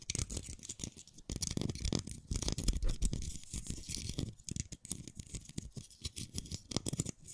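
A single dry brown pine cone, fist-sized and solid with open woody scales, is held in one hand close to the microphones while the fingertips and nails of the other hand flick and scratch along its scales. The result is a dense run of quick, dry clicks and raspy scratches with a bright, crackly top and soft low handling thumps underneath.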